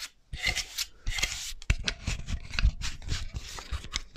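Long nails scratch and tap the fingers and palm of a small, solid wooden articulated hand model held close to the mic. Bright, rasping scratch strokes alternate with dull, dry taps that carry a low thump and die away almost instantly.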